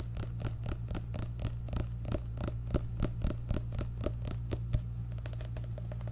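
Fingertips and nails scratch and tap the paper cover of an orange paperback book held close to the microphone. Rapid, irregular taps, roughly three or four per second, each snap short with bright, papery clicks. Underneath runs a steady low hum.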